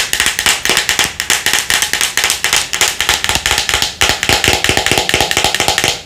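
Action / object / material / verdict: tap / plastic skincare jar / plastic / none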